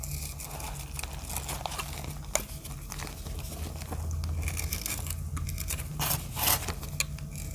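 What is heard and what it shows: A snap-off utility knife blade scrapes and cuts thin flakes off a hand-sized, solid, heart-shaped block of dry reformed soap, grey-blue with teal and dark speckles, held in one hand over a pile of soap shavings. A steady dry, crinkly scraping and crackling runs over a low background hum, with a sharp click near the middle and a louder, brighter scrape toward the end.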